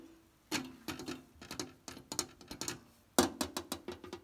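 Long nails tap and scratch the flat mirror panels and edges of a mirrored-glass side cabinet with a wooden-edged frame and a metal knob. The result is a quick run of bright, dry clicks and short scrapes that die away almost at once, over a faint steady tone near 350 Hz.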